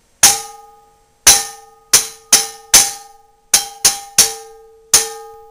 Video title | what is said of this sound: Testing for Cracked Cast Iron pans | A crack. It's going to buzz like. Listen. You can hear it.